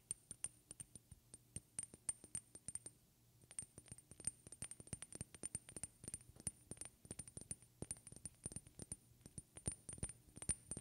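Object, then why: Small glass perfume bottle. Long red-painted fingernails rapidly tap a small, partly filled glass perfume bottle with a white cap. It makes a quick run of short, sharp clicks, each with a faint, bright, high glassy ring, over a steady low hum, with a brief pause near the three-second mark. Some taps land harder and some softer.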